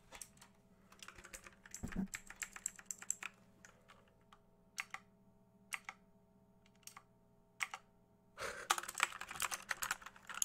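Fingertips tap the plastic keycaps and case of an RGB-backlit mechanical keyboard held tilted and upright close to the mic. Bright, dry clicks come in scattered bursts over a faint, steady low hum. The clip ends in a dense flurry of rapid tapping.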